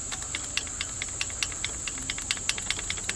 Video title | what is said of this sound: $300 No compression Honda XR80, leak down testing, | hear that little tapping so I I do have some valve lash here